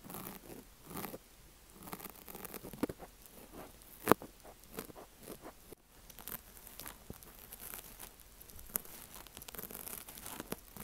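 A thin wooden ear pick scratches and rubs inside the cut slit of a soft, porous pink wavy foam kitchen sponge shaped like an ear, the slit held open with a metal tool, resting on a rattan mat. Quiet crackly rustling and scraping textures come in bursts with brief sharper ticks.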